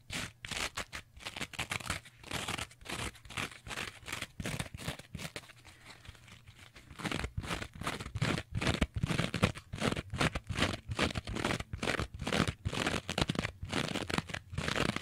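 Long nails scratch the green abrasive scouring layer of a rectangular kitchen sponge with a yellow foam base, held in both hands. The result is rapid, uneven bursts of dry, bright scratching and crinkling. The bursts ease to a softer, quieter stretch about midway, then return louder and denser to the end.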